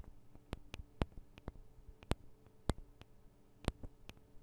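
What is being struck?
Small metal microphone capsules on a handheld recorder.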